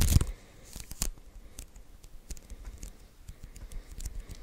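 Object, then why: Lint roller with adhesive paper roll. Fingertips tap and lift off the white adhesive paper roll of a handheld lint roller, close up. A loud sticky peeling rip at the start gives way to a quieter run of soft, crackly ticks and tacky pops as the fingers keep releasing from the sticky surface.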